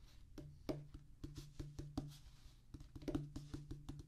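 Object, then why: Rubber drum practice pad drummed with fingertips. Fingertips of both hands drum a rapid pattern on a solid, flat rubber drum practice pad with a black rubber top on a tan cork-like base. About seventeen soft, dull, low thuds land in quick succession, each dying away almost at once with very little brightness.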